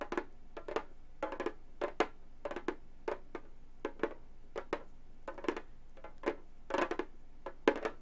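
A hollow frame drum with a synthetic head is tapped in fast flutters with gold metal claw tips. Clusters of quick, dry taps with a hollow midrange tone near 430 Hz come in bursts that die away almost at once. A faint steady low hum sits underneath.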